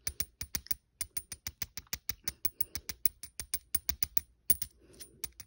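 A small solid silver-coloured metal coin is held between the fingers while a fingernail scratches and taps its face and rim. Around 31 sharp, bright ticks sound in a quick, uneven stream, each dying away almost at once, with soft scratchy rustles in the gaps between them.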